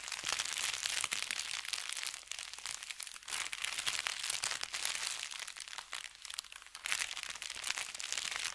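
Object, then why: Kraft paper bag. Fingertips scratch and rub an empty brown kraft paper bakery bag with red lettering, lying flat on felt. The result is a continuous, bright crinkling and scratching texture made of dense, crisp crackles with almost no low end. It eases off briefly around two seconds and again near six seconds before building back up.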